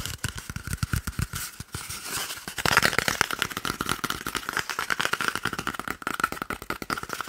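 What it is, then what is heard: Empty cardboard paper roll tube. An empty, hollow, hand-sized brown cardboard toilet paper roll tube is held in one hand and quickly tapped and scratched close to the microphone with the fingertips and short nails of the other hand. The result is a fast stream of dry, papery taps and scratches with a hollow ring around 1.4 kHz, growing louder and busier about midway through.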